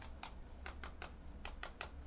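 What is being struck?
Screen protector on a navigation display.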